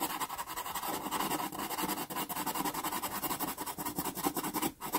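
A natural-wood pastel pencil makes dense shading scratches across a small taped sienna Pastelmat card. The result is a steady, rapid, gritty scratching with a bright, papery hiss and little low end, dipping briefly just before the end.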